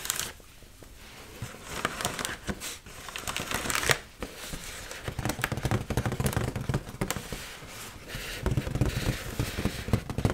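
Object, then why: Inflated mylar foil balloon. Long nails tap and scratch the surface of an inflated, hollow red mylar foil heart balloon held close to the mic. The result is a busy, irregular run of quick crinkly taps and scrapes, with dull hollow thumps underneath and bright crackle on top.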